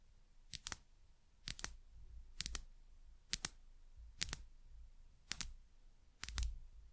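Long nails tap the sides of a small, labeled frosted glass dropper bottle in seven quick double taps. Each tap is a sharp, bright click that dies away almost instantly, with a soft low rumble underneath.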